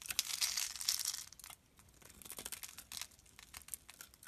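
A metal utility blade scores and scrapes a solid pink rectangular bar of soap held in the hand, cutting it into small cubes. A dense, bright, crackly scraping fills the first second and a half, then gives way to quieter, irregular short crisp scrapes and cuts with almost no low end.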